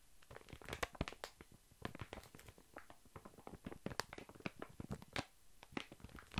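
A large, soft, full pack of baby wipes wrapped in thin plastic film is shifted from side to side and tapped with long fingernails. The result is quiet, crinkly rustling of the film broken by a dense run of short, sharp clicks and taps that reach up to bright highs, with a soft thud underneath some of them.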